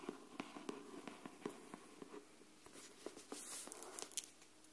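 Long nails tap and scratch the cover of a pink cardboard hardcover paper notebook, a solid block of pages held flat near the mic. About nine soft, dry taps land with almost no ring, mixed with a brighter, papery scratching that swells toward the end. The sounds stay quiet and close.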